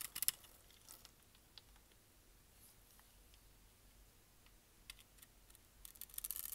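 A metal utility knife blade scrapes and cuts the crosshatched, scored face of a palm-sized, solid, dry brown bar of soap held in one hand, piling crumbly flakes onto a white surface. The quiet clip is made of short, dry, bright crackling scrapes with almost no ring, bunched at the start, around five seconds, and in a denser burst at the end.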